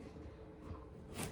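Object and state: Nothing is struck.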